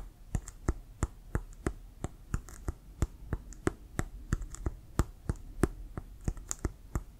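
Fingertips and nails tap on a brown Wilson leather American football, hollow and inflated. The taps come in a quick, uneven rhythm of about three per second, each a short dry tap with a low hollow thump and a bright click from the nails that dies away almost at once.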